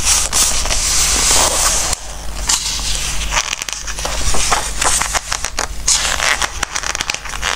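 Fingertips of both hands rub flat across the spread of an open softcover book with glossy coated pages and turn its pages. The result is squeaky, crackling paper rubbing with bright rustles and quick page flicks over a steady low hum.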